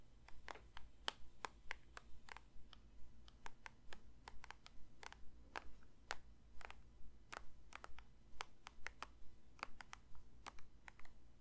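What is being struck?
Plastic lotion bottle.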